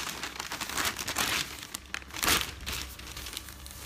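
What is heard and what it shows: Hands with long nails flip and crinkle newsprint newspaper pages held up close, then rub them flat. The result is a dense stream of bright, papery crinkles and rustles, with the loudest crisp burst near the middle and softer scraping as the sheets are smoothed.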